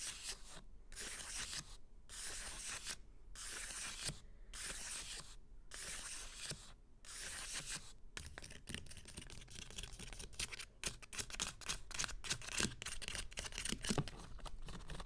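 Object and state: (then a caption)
Fingernails scratching hardcover book spines with paper dust jackets. Fingertips with short green-painted nails scratch and rub along the spines of a small stack of hardcover books, with glossy paper dust jackets over solid bound pages. For the first half, long, bright, hissing strokes are separated by brief pauses. The second half turns into quicker, choppier scratches with soft low thuds underneath.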